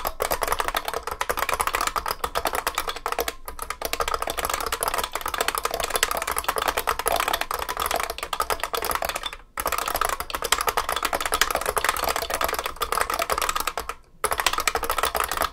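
Both hands type continuously with their fingertips on a large vintage beige IBM 3278 beam spring keyboard with plastic keycaps and a metal case. It gives a dense stream of sharp, short clacks centered around 1.6 kHz with bright, high edges. Brief pauses fall near 3.4, 9.5 and 14 seconds.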